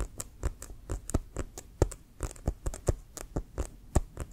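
A full-size, inflated, hollow brown pebbled composite leather American football with a white stripe, held upright, is tapped with fingertips and nails. It gives a quick, uneven run of soft, dull thumps, each with a faint bright click from the nails. The taps die away almost instantly with no ring.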